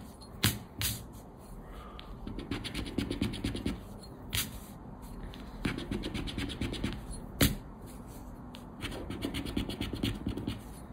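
A thin coated-paper lottery scratch card (Aranha da Sorte) lies flat on a black cloth and is scratched with a round black plastic scraper held in the fingers. Bursts of rapid, rasping scratch strokes alternate with quieter pauses, broken up by a few sharp, bright clicks of the scraper against the card.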